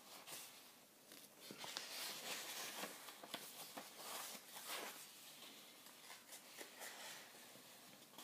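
A solid hardcover book with white paper pages, The Liverpool Football Supporters' Book, is held open in one hand while the fingertips of the other hand riffle and flip through the pages. Soft, bright brushing and fluttering paper sounds continue throughout, broken by a few sharper page flicks.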